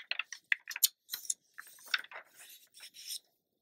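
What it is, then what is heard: Glossy paper magazine page. A long-nailed fingertip rubs and scratches the page edge of an open glossy paper magazine lying flat, then turns the page. Quiet, dry, crisp scratches and papery rustles come in short irregular bursts, bright and hissy with almost no low end, ending in a longer swishing rustle as the page turns over.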